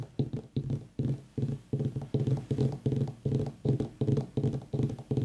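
Fingertips and nails of both hands tap rapidly on the top of a whole white, ribbed mini pumpkin with a long dry stem. The taps make dull, hollow, low thuds in quick, uneven bursts, each dying away almost at once with no ring.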